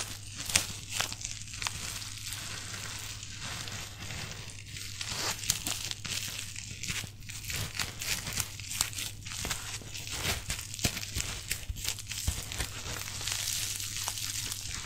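A rolled strip of thin, light, clear plastic bubble wrap with hollow cells is held in both hands close to the microphone and squeezed and crumpled with the fingers. Dense, bright crinkling runs continuously, broken by frequent sharp little crackles and pops, over a steady low hum.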